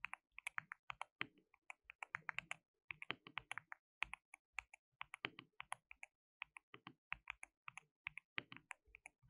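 Both hands type with their fingertips on a compact white plastic mechanical keyboard with pale keycaps and a hollow case, resting on a dark desk mat. About 53 quick, bright, clacky key taps come in uneven bursts with short pauses, centered around 2.5 kHz. Each tap is crisp and dry with almost no low end, and dies away almost instantly.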